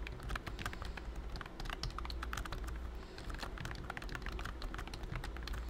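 Fingertips type steadily on a pink plastic BT21 COOKY computer keyboard with round white keycaps and a hollow body. A rapid stream of bright, short plastic clicks and clacks sits over a steady low hum.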